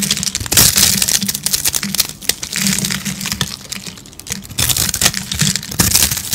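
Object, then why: Rolled bar of soap. A metal blade held in one hand scrapes and scratches across the rolled face of a hand-sized, hollow spiral roll of dry pink soap with colored speckles, held in the other hand, shaving off crunchy soap flakes. The result is a dense, continuous run of dry, bright crackling and crunching, with short, sharp scrape bursts that stop dead without ringing.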